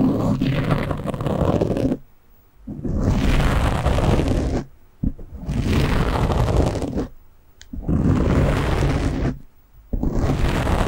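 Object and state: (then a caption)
Foam microphone windscreen being scratched. Both hands scratch a black foam windscreen on a microphone with short polished nails, producing dense, rumbling, low-heavy scratching. The scratching comes in five bursts separated by brief quiet pauses.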